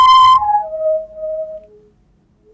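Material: Nothing is struck.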